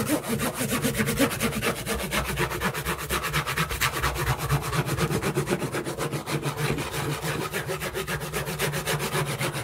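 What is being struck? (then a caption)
Corrugated cardboard box. Hands rapidly scratch and rub the surface of a hollow, partly torn corrugated cardboard shipping box with an arrow logo while it is held up. The result is a continuous run of quick, raspy strokes over a low hollow rumble, possibly with faint music underneath.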